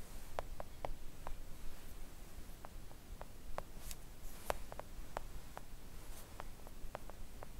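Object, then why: Silicone nail art mat. Long acrylic nails tap on a flat, thin, solid pink silicone nail art mat, with only one hand tapping for part of the stretch. Soft, short ticks with a muted mid-range tone come at an irregular pace, each dying away almost instantly. Behind them sits a steady, low background hiss and rumble.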